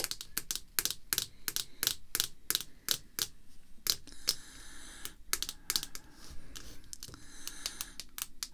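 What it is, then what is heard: Plastic card holder. Long red fake nails tap and click rapidly on the face of a clear, rigid plastic card holder. The sound is a steady run of sharp, bright clicks with very short decay, over a faint low background.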